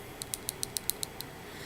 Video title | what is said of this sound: Review of Tarte's Pretty Paintbox | it does have a ball in there, if you can hear